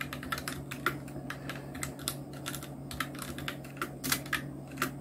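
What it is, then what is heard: Plastic mechanical keyboard. Fingertips of both hands type on a full-size black Nubwo Illution NK-70 mechanical keyboard with Outemu red switches, round plastic typewriter-style keycaps and blue backlight, resting on a white desk. A steady stream of short, bright plastic clacks with quick, dry decays sits over a constant low hum.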